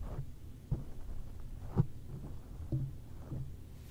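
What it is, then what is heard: Foam microphone windscreen tapped. Fingertips of one hand tap a black foam windscreen over a microphone, producing three dull, low thumps over a soft, steady low rumble. Each tap lands as a short muffled thud with almost no ring, and the mouth stays closed throughout.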